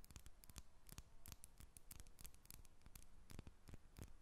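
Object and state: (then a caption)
Soap bar tapped and scratched. A solid, hand-sized, square purple lavender soap bar with an embossed surface is held in both hands while long red nails tap and scratch its faces and edges. The result is a quiet, rapid series of sharp, dry clicks and scratchy crackles with bright edges and very little ring.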